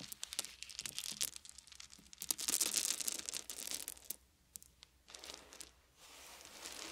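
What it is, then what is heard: Wooden beads. Handfuls of small round wooden beads are held and poured from both hands, then fingertips rub the pile of beads. Bright, dry clicks and rattles come in quick irregular bursts, swelling into a denser pour in the middle. They then thin out into a soft, hissy rubbing at a lower level.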